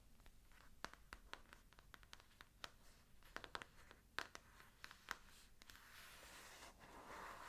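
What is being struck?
Paper-covered hardcover book.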